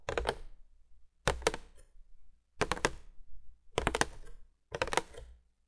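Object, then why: Printed cardboard box. Long nails of both hands tap rapidly on the flat top of a printed cardboard candolier box lying flat on a wooden table. Five quick bursts of dry, clicky taps sound like fast typing, with a hollow low thump under each burst and brief pauses between them.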